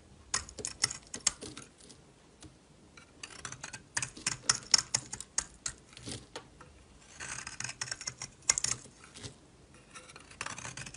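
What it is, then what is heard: Bar of soap being shaved. A solid orange-yellow bar of soap is held in the hand and scraped and shaved with a metal utility knife blade. The result is a quiet run of crisp, bright scraping and tapping clicks, each dying out almost instantly, with some passages of denser shaving.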